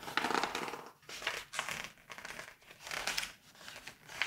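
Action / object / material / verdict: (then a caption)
scrape / glossy paper magazine pages / glossy paper / none. Fingertips with painted nails hold open a thick, glossy September 1986 Vogue fashion magazine, flipping and bending its pages. The paper gives a bright, dry crinkling and rustling that comes in several swelling bursts, with brief quieter pauses between page turns.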